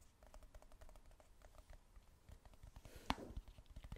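Long nails tap rapidly on the dark lid and sides of a hollow, cylindrical plastic supplement tub. The result is a quiet, steady patter of light, dry clicks with a dull low thump beneath, and one sharper, brighter tap stands out near the three-second mark. Each tap dies away almost instantly.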